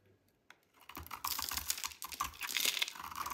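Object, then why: Bar of soap cut with a blade. A metal utility knife blade shaves and cuts a dry, hand-held, solid cream-white JO soap bar with pink specks inside. After a faint start with one early scrape, a dense run of crisp, bright scraping and crackling builds, dry and sharp with almost no low end or ring.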